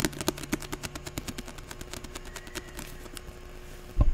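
About four seconds of rapid, sharp ticks with almost no ring, each dying away at once, then a louder dull thump near the end. The dry, damped clicks come from nails tapping and scratching a closed paperback's card cover and spine.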